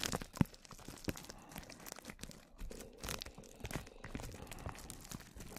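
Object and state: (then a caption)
Plastic cling film brushed. A small brush strokes clear plastic cling film stretched over a microphone, making close, dry brushing and scratching sounds. Soft crinkling swishes and scrapes overlap continuously, with a sharp louder crackle near the start and brief bright rustling bursts throughout.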